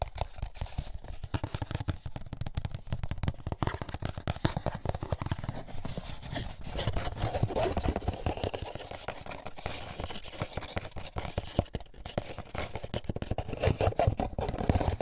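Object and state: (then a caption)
Paper pulp egg carton. An empty molded paper pulp egg carton held in hands as fingertips and nails tap and scratch its lid and label. Dense, rapid soft taps and papery scratches run continuously with a dull low-heavy body and little brightness, growing busier midway through.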